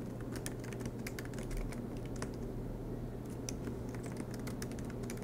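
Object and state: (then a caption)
Laptop keyboard typing. Fingertips of both hands type continuously on the black plastic low-profile keys of a silver MacBook Pro with an aluminum chassis. The result is a steady stream of soft, quick key taps with bright clicks over a constant low hum.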